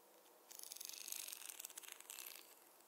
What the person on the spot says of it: the contrast between the soft hair sounds with the wooden tapping sounds